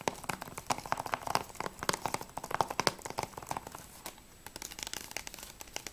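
Fingernails tap rapidly on a closed, hollow plastic PS3 game case for Battlefield Bad Company 2, first on the front cover and then on the spine. The taps are quick, dry, crisp clicks with a hollow midrange knock and bright edges, and they die away at once. There is a brief quieter stretch near the two-thirds mark before the tapping picks up again.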